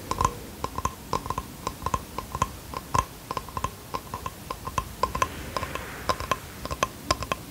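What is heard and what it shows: Fingertips tap the wood of a small, flat bamboo box held in both hands, producing a quick run of about 38 light, dry knocks. Each tap has a hollow tone near 1 kHz and dies away almost instantly, and the taps come at an uneven, relaxed pace.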